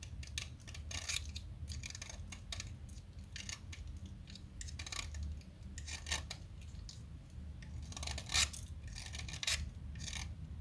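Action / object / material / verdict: scrape / chalk stick scraped with a metal blade / chalk / none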